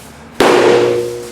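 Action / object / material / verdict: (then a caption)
drop / fiberglass door / fiberglass / undamaged. A solid, waterproof fiberglass door is dropped onto the floor as a strength test, landing in a single loud slap. A tonal ring around 380 Hz lingers and fades over most of a second. The door comes through undamaged.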